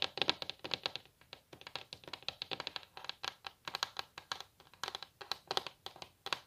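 Long natural nails tap and scratch across the edge and surface of a solid wooden table top in a quick, uneven run of about 40 sharp, dry clicks. The clicks are bright, centered near 3.5 kHz, with almost no low end and no ring. Soft scratchy brushing fills the gaps between them at a quiet level.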